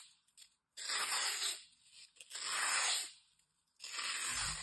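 A metal utility knife blade slices and scrapes along the edge of a hand-sized, solid, dry green floral foam piece with ragged edges. Three long, bright, crunchy rasping strokes are heard, separated by short pauses and a few faint scratches.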